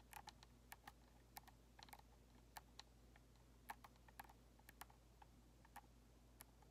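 Long nails tap the white hollow plastic shell and thumbsticks of an Xbox controller, making quiet, short, bright clicks. About 21 separate taps sound over a steady low hum, each dying away almost instantly.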